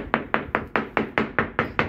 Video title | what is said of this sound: serious structural failure of a yachts keel matrix from a significant grounding. | tap it with the old father's hammer but it actually all sounds pretty good